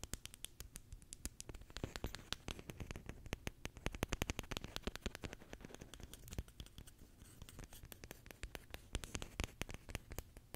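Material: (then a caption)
Plastic. A wide, full roll of clear heavy-duty plastic packing tape with a hollow core is held in one hand while fingertips and nails rub and scratch the inside of the core and the tape surface. The result is a dense, steady run of quick, dry scratching and tapping clicks with a low thump beneath and bright, crackly edges. Each click dies away at once.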